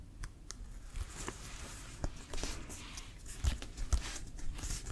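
Fingertips and nails tap and scratch the surface of a brown Wilson leather American football with laces, hollow and inflated. Quiet, soft taps with dull low thumps are mixed with bright, dry scratching rasps, each dying away almost at once.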